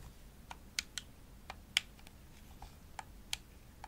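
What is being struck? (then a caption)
Plastic game controller. Long nails tap a hollow pink glossy plastic Xbox controller, striking its shell and buttons. About seven sharp, bright clicks come at uneven intervals, each dying away almost instantly. The taps sit over a faint low hiss.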